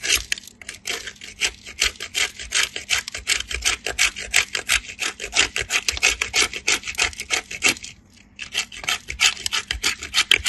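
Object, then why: Bar of soap on a steel grater. A small remnant of solid pale soap is rubbed with fingertips against a perforated steel grater over a pile of soap shavings. It makes quick, bright rasping strokes, about three per second, with a brief pause near the end before the grating resumes.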